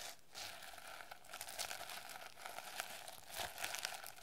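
A plastic sequin notebook cover is held in both hands while long nails scratch rapidly across its sequins. The result is a continuous, bright, crinkly scratching with dense clicky texture and small bursts of louder rasps throughout.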